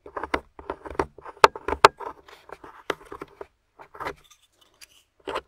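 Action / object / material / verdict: scrape / plaster excavation block scraped with a small metal spoon / plaster / none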